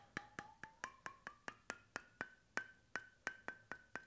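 Fingertips tap the flat bamboo (wooden) cap of a stainless steel bottle held sideways near the microphone, making 16 quick, dry, hollow knocks. Each tap is short and woody, and the tone climbs from about 800 Hz to about 1.5 kHz over the clip.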